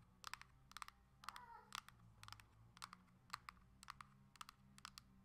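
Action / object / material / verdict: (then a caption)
tap / plastic handheld game console back / hard plastic / none. Long acrylic nails tap quickly on the hard plastic back of a coral Nintendo Switch Lite held upright, making about 20 sharp, bright clicks in quick bursts. Each tap is short and dry with almost no ring, and has a clicky tone around 1.2 kHz. A faint, steady low hum runs underneath.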